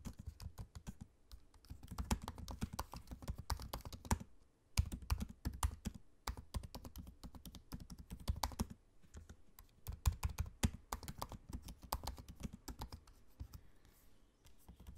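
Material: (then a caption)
Plastic, aluminium. Fingertips of both hands type on the low-profile black plastic keys of a space-grey aluminium laptop keyboard. Rapid, soft clicks and dull thuds come in bursts, with brief pauses near 4.5 and 9 seconds, and each keystroke dies away almost instantly.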